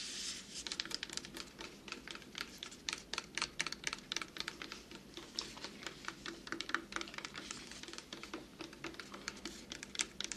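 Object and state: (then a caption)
Plastic water bottle. An empty-looking, hollow, clear plastic water bottle, held upright beside a binaural microphone, is tapped rapidly with fingertips and short nails. The result is a dense, irregular stream of quick, bright clicking taps that stop dead with almost no ring, over a faint low background hum.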